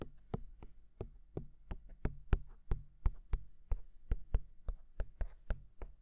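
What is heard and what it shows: Fingertips of both hands tap the white silicone ears of a binaural microphone, producing nineteen soft, dull thumps in a loose, uneven rhythm over six seconds. Each tap is a short, deep muffled knock with a faint bright click on top that dies away almost instantly, over a low steady hum.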